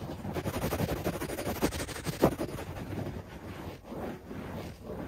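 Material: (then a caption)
Carpet fibre. Fingertips scratch and rub a beige shag carpet on the floor, making a dense, fast, uneven rustling and scraping texture. A few sharper scratches stand out near the two-second mark before the rubbing settles into a softer, steady brushing.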